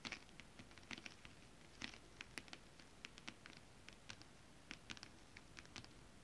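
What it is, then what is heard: Holographic scale-print fabric. Long acrylic nails tap and scratch with both hands across a flat sheet of shiny holographic mermaid scale-printed fabric. It makes a quiet, irregular patter of short, bright clicks with soft scratchy rustle between them, each tap dying away almost at once.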